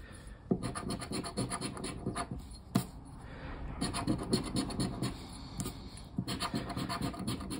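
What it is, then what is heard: Paper lottery scratch card being scratched. A hand scrapes the lower symbols of a thin cardboard paper lottery scratch-off card, lying flat on a wooden table, with the edge of a black plastic disc. Quick, dry rasping strokes come in dense bursts with a few sharper scrapes, each dying away almost at once. The sound is weighted toward the low end, with a faint bright hiss above.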